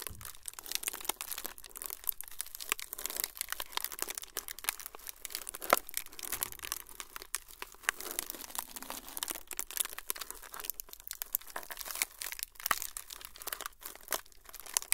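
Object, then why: Thin frosted plastic sheet. A thin, flexible, semi-translucent frosted plastic sheet is crinkled with fingertips close to the microphone. A steady, quiet stream of bright, dry crackles and crinkles, scattered with sharper snapping clicks, runs throughout. There is almost no low end.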